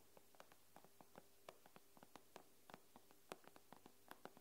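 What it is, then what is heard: Glass tablet screen. The fingernail tips of curled fingers tap the glass screen of an iPad in a quick, uneven series of light, dry clicks. Each tap is short and bright with almost no ring. The taps sit over a faint, steady low hum.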